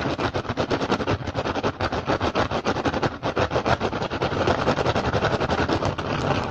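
Fingertips and short nails of both hands tap and scratch quickly and hard across the weave of an upturned, hollow, empty woven rattan basket. A fast, uneven stream of short, dry taps with a hollow low thump, overlaid with a continuous bright scratchy rasp, runs steadily throughout.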